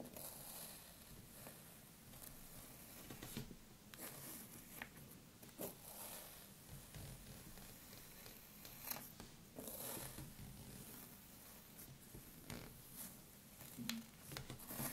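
Long, curved, metallic-polished nails on both hands rake and scratch through a pile of loose, crumbled red kinetic sand on a wooden table. The result is a quiet, continuous gritty rasp with a bright hiss, broken by sharper crunchy scrapes that rise briefly above the steady texture.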